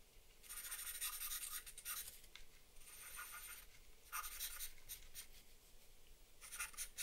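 A black charcoal pencil makes short scratching strokes around the eye area of a drawing on a flat sheet of drawing paper resting on a wooden desk. Bursts of dry, bright scratching come in clusters with quieter gaps between them, over a faint low background hum.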